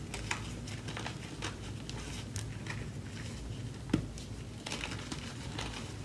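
Hands with long nails dig into, squeeze and crush a deep layer of powdery pink-white gym chalk (magnesium carbonate) with a few solid chunks in a white plastic tub. The result is a steady run of soft, crumbly crunches and crinkly crackles over a low, muffled rumble. One sharper crunch stands out near the four-second mark.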